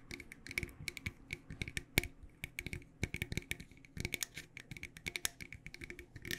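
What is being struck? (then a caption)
Metal tea tin. Long dark nails tap quickly on the sides and lid of a medium, decorated, hollow cylindrical metal loose tea tin held in both hands. Each tap is a short, bright, clicky tick with a brief metallic ring around 2 kHz and a faint hollow low thump beneath. The taps run in an irregular, steady stream with a few louder accents.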